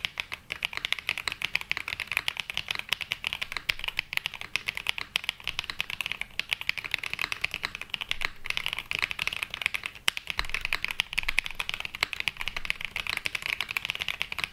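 A black Glacier 80 mechanical keyboard with London Fog switches and ABS plastic keycaps, resting on a felt mat, is typed on continuously with the fingertips of both hands. The result is a dense, steady stream of short, crisp clacks with a bright tone centred around 3 kHz and very little low end.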